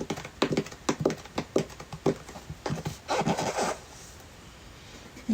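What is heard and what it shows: A cardboard product box that gear came in is tapped with a quick series of light, hollow knocks. The taps blur into a denser cluster near the end, then a short quiet stretch is followed by one last knock.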